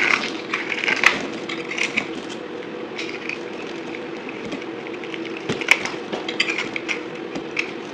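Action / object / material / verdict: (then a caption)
scrape / bar of soap cut with a metal knife / soap / none. A metal knife blade shaves a solid white bar of soap with a blue edge, held in the palm, into crumbly chunks. The result is a steady, bright, dry crackling and scraping, with sharper cracks of crumbling soap popping out now and then.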